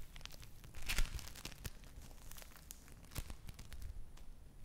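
A yellow lump of play foam (foam bead clay) is kneaded, squeezed and torn apart with fingers and long nails close to the mic. The result is a dense stream of quick, crackly crinkles and bright tearing pops over a low, soft rumble, with louder bursts near the start and again past the three-second mark.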